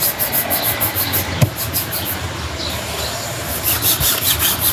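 A cloth is rubbed back and forth across the toe and upper of a black leather Dr. Martens lace-up boot with a thick sole, worn on a foot on a shoeshine stand. Steady, rhythmic swishing strokes carry a bright, hissy texture over a low hum. A single short, sharp knock cuts through partway through the buffing.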